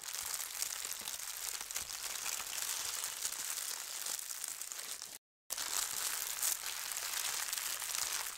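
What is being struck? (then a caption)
Thin tissue paper sheet. A large, thin holly-print tissue paper sheet is smoothed across a table by flat hands and fingertips with long red nails. It makes a steady, bright, hissy crinkling throughout, with almost no low end. The sound breaks for a moment of silence just past five seconds, then the crinkling resumes.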